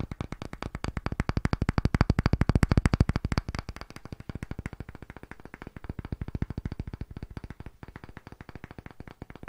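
A thick, solid, round pale wooden disc held in both hands is tapped very fast with fingertips and short nails. The result is a rapid, dense stream of dull, low, woody knocks with no ring, growing louder toward the third second and then continuing more softly and unevenly to the end.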